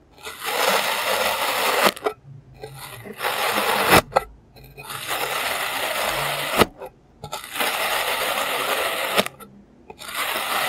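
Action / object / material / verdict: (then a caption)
scrape / block of kinetic sand cut with a plastic serrated knife / kinetic sand / none. A clear plastic serrated knife slices a solid block of green kinetic sand into layers, making long gritty, hissing rasps that sound bright and dry. Four sharp ticks punctuate the strokes, with brief quiet pauses between cuts.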